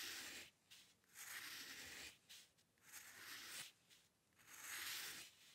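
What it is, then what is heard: Steel dip pen nib scratching paper. A steel-nib dip pen with ink scratches repeated short strokes across a flat sheet of white drawing paper resting on a dark table. Three separate scratchy, bright bursts of rasping friction rise and fall with soft pauses between them, and there is almost no low end.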